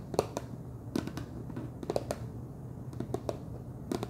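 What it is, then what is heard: Plastic snack jar lid. Fingertips and nails tap the top of a wide orange plastic screw lid on a large clear plastic jar full of cheese puffs. The result is a quick, irregular series of short, dry clicks over a steady low background hum.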